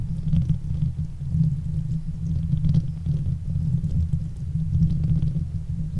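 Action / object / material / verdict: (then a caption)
scrape / metal wire-mesh microphone grille / metal mesh / none. Long fake nails scratch the hollow, domed metal wire-mesh grille of a silver Blue Yeti USB microphone, with both hands gripping the grille throughout. Up close, the scratching comes through as a deep, muffled, continuous rumble with no pauses. Its intensity swells and fades, and faint brighter scrapes sit above the low texture.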